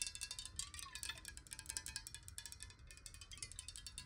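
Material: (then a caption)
Glass. Long acrylic nails tap rapidly on the side of a clear, hollow glass bottle, partly filled with water and held tilted. The result is a fast, steady stream of bright, glassy ticks with a short ring around 2.7 kHz over a faint low rumble.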